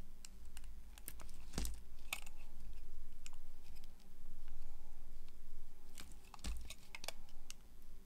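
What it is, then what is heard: Dry soap bar being carved. A green-handled box cutter blade carves and scrapes strips off a solid, dry bar of soap striped yellow, green and orange, held in the hand. Sharp, dry clicks and crisp scraping cuts come at an irregular pace over a steady low hum.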